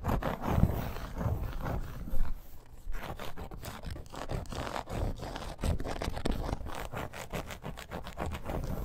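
A dark red embossed faux snakeskin leather bracer, a flat, fairly thin wrist guard with metal grommets, is scratched and tapped with long acrylic nails. Quick, dense, low-pitched scratching and tapping continues throughout, with the energy concentrated in the low end.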